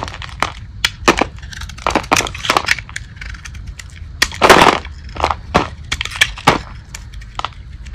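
A metal blade shaves and scrapes a dry, solid, hand-sized light-blue Old Spice bar soap with a painted teal and glitter face, held in the palm. The result is a rapid series of sharp, bright, crunchy cracks with a longer gritty scrape midway, as crunchy flakes break off onto the table.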